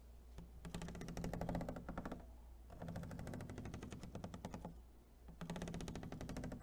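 Fingernails tap rapidly across the patterned lid and along the ribbed edge of an empty, hollow clear plastic clamshell food container. The tapping comes in three fast bursts separated by short pauses, each a dense, clicky rattle over a low hollow hum around 164 Hz. The clicks are short and crisp, with little ring.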